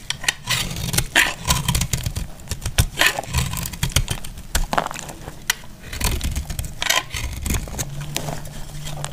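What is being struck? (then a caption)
Bar of soap. A hand-held solid bar of dried lilac-and-white marbled soap is cut and scraped with a box-cutter blade, flaking off crisp shavings. Dense, dry crackling and sharp scraping snaps carry bright highs throughout, over a low rumbling hum.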